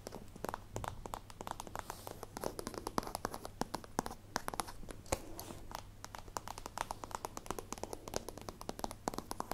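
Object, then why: Plastic zippered pencil case. Long nails tap quickly on the plastic sides of a holographic plastic zippered pencil case held in the hands. The result is a rapid, continuous run of short, dry clicks with a faint crinkle of plastic over a quiet, steady low hum.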